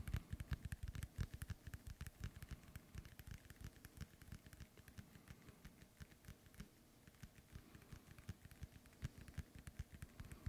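Fingernails tap rapidly on the surface of a hollow, inflated synthetic leather soccer ball held close to the mic. The taps are short, dull thumps with a deep, hollow body and faint bright clicks on top. They come in a steady, busy patter that is denser and louder at the start and softer near the middle.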